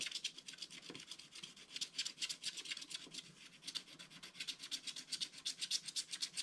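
Fingertips rub back and forth across a flat, black-coated scratch art card, wearing the black coating off the background. Quick, uneven strokes make soft, dry, bright rasping swishes with almost no low end, and each burst ends at once.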